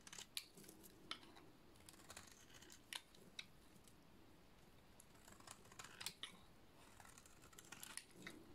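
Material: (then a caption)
Soap. An oval, solid, dry yellow soap bar is held in one hand and shaved along its face with a small flat metal blade. Quiet, crisp scraping strokes give bright, dry, short-lived clicks over a soft rasping hiss, and the shavings pile up.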